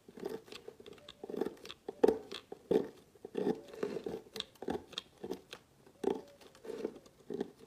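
A metal blade slices thin strips off a red and white striped solid bar of soap that has been scored into a grid and lies among chopped pieces. Each cut makes a short, dry, crisp scraping crunch centered in the midrange around 445 Hz, with no ring. The cuts come in a loosely irregular series of roughly 90 per minute.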